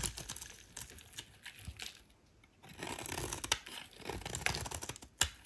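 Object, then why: Soap bar shaved with a metal blade. A solid rectangular white soap bar held in the hand is shaved with a metal utility knife blade, and shavings curl off. Quiet, bright, crisp scraping and crackling comes in short strokes, with a brief lull near the middle and a few sharper snaps toward the end.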